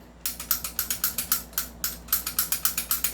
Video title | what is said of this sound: Review N Unbox of 2011 7.0 Dragon & 1911 DrugIord's PistoI | hindi pa naka-fix outer barrel to. Ayan, no? Kumakalog-kalog pa siya.